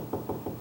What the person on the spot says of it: That's where the side style is in the door.